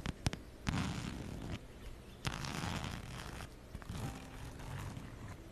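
Long nails scratch over a plaid fabric and brown faux-leather wallet held close in front of the microphone. The sound is a run of rough, zipper-like rasping strokes with a full, low body, starting with a few sharp clicks. Louder scratching bursts alternate with softer passages.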